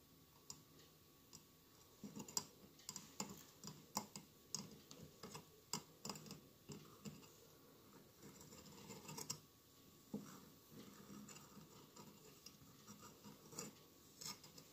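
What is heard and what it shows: Fingernails gently tap and scratch the glass tiles of a hollow glass mosaic votive candle holder with a lit candle inside. The result is a quiet, irregular series of short, bright clicks and ticks with soft scraping between them, each tap dying away almost instantly.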